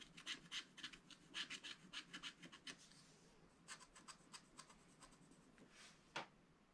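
A wooden stylus scratches and rubs away the black wax coating on a thin coated paper sheet of a small spiral-bound scratch-art pad, working in strokes. A quick run of short, bright, raspy scraping strokes gives way to a quieter stretch and sparser strokes, ending on one sharper scrape.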